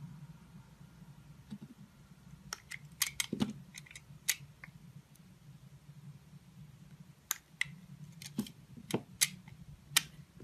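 A solid blue, yellow and white soap bar, held in the fingers, is sliced with a metal utility knife blade, with other slices lying nearby. About sixteen short, crisp, bright cutting snaps and clicks come in loose clusters over a faint low steady hum, each dying away almost at once.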